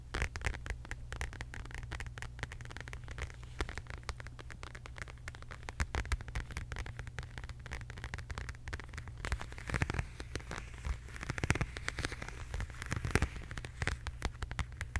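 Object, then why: Faux leather zip-around wallet. A medium, flat, hollow zip-around wallet in beige quilted faux leather with an embossed heart pattern is tapped and scratched with long acrylic nails. Rapid, dense clicking taps and crackly scratching sit over a steady low hum, growing busier and a little louder toward the end.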